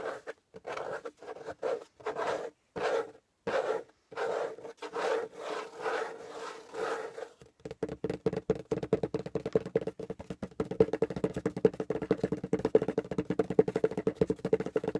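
The top of a closed corrugated cardboard box is scratched with the fingernails in short, dry rubbing strokes separated by brief pauses. It then turns to quick, dense tapping with the fingertips and nails, giving a hollow, papery knock with a mid-pitched body resonance.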